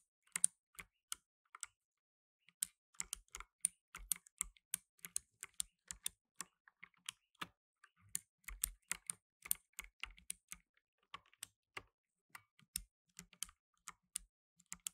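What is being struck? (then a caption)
Plastic mechanical keyboard. Fingertips in blue nitrile gloves type fast on a black tenkeyless mechanical keyboard with plastic keycaps. The result is a quick, irregular run of dozens of sharp, bright clicks that die away almost instantly, each with a faint low thud beneath. There is a brief pause near the start before the typing resumes in steady bursts.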